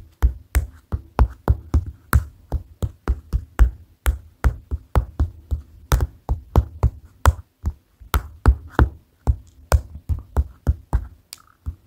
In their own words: Notepad Tapping ASMR